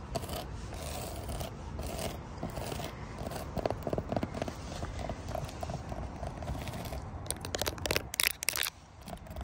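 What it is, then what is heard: Textured rubber mat. Long nails and fingertips tap and scratch across a flat black rubber or plastic mat covered in small raised round bumps. The result is a continuous dry scraping texture dotted with quick, crisp clicks, a few sharper taps near the end, and a steady low rumble underneath.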